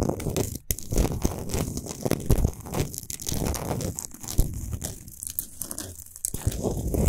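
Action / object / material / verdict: scrape / rock salt lamp / rock salt / none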